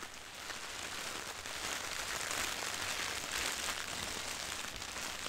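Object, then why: Soft plastic mailer bag. A medium-sized white printed soft plastic poly mailer with cartoon doodles and the text "Beauty is being human" lies on carpet holding packaged items while both hands tap and scratch its surface with long painted nails and fingertips. The result is a steady, bright crinkling and scratching texture with quick soft taps running throughout, and little low end.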